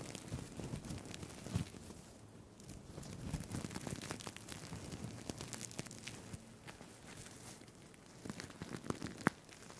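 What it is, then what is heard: Plastic sequin fabric tie. Fingers scratch and rub the plastic sequins of a green sequined fabric tie held close to the mic. The result is a quiet, steady stream of dense crinkly crackles and sharp little clicks, easing off briefly around the middle before picking up again.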